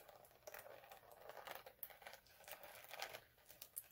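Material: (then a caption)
Plastic glitter. Both hands scratch the surface of a flat multicolour chunky glitter sheet lying on a dark cloth, using short nails and fingertips. Quiet, dry, crinkly scratching comes in quick uneven bursts, with bright, sharp ticks over a soft hiss and almost no low end.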